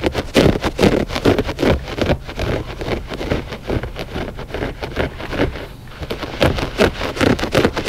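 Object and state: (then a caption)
Looped carpet rug scratched. Short fingernails on both hands scratch quickly across the pile of a flat gray loop-pile textile rug, which is solid and soft. The result is a rapid, uneven series of dry, rustling scrapes. Each scrape is brief with a soft low body, and the scratching continues without pause for about eight seconds.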